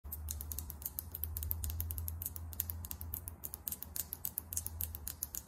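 Long almond-shaped acrylic nails tap quickly on a small Fenty Gloss Bomb Heat lip gloss tube with a clear plastic, glass-look body filled with gloss and a chrome-finish plastic cap. The result is a rapid, slightly irregular stream of bright, short clicks that die away almost instantly, over a steady low hum.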